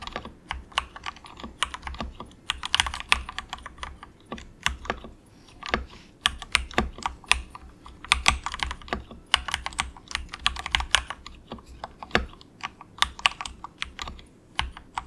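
Fingertips of both hands type softly in quick taps on an inexpensive compact mechanical keyboard with grey and orange plastic keycaps and a hollow plastic case. The result is a steady, uneven run of bright, dry plastic clicks with almost no ring, backed by faint low thuds from the hollow case.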